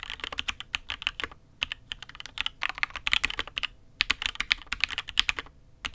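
A custom mechanical keyboard with an aluminium case and red and grey ABS keycaps is typed on steadily with the fingertips of both hands. Quick, bright clacks come in bursts separated by short pauses, each with a sharp attack and almost no ring. The overall sound is crisp and dry with very little low end.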